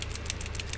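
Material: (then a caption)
Wood. A carved wooden palad khik amulet, made of black phaya ngio and dam dong wood, is shaken so the small bell or rattle embedded inside sounds, a characteristic feature of the piece. About six short, bright, clicking rattles are heard over a steady low hum.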